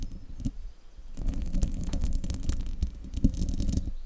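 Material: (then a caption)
Metal mesh. Fingertips and nails scratch the sides of the hollow metal mesh grille on a silver desktop microphone. The sound is a close, deep, muffled rumbling scrape with quick crackling ticks. It starts quieter, then becomes a denser, steady scratching that runs to the end.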